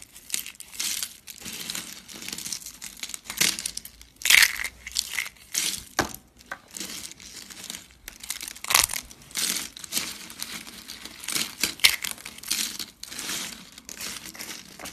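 Yellow, thin, hollow dry soap curls are pinched and crushed by fingers with long dark nails. The result is a steady run of bright, dry crinkling and crunching crackles in short bursts with brief pauses, with almost no low end and no ring after each crunch.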